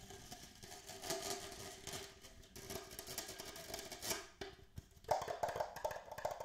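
Fingertips tap quickly on the walls and base of an empty, hollow red plastic party cup held in both hands. The result is a fast, uneven flurry of light, hollow clicks with a mid-pitched tone around 600 Hz and almost no ring, with the sharpest, brightest taps near the end.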